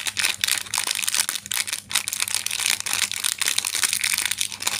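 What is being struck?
Plastic film candy packet.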